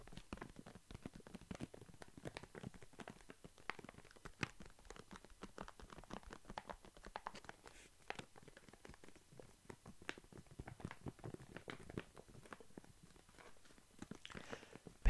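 A full plastic foil snack bag of walnuts is squeezed, crinkled and tapped with fingertips. The result is a dense, quiet stream of short crackling taps and rustles that continues throughout. The sound is mostly low-weighted with faint bright crinkle edges, and there is a sharper tap at the very end.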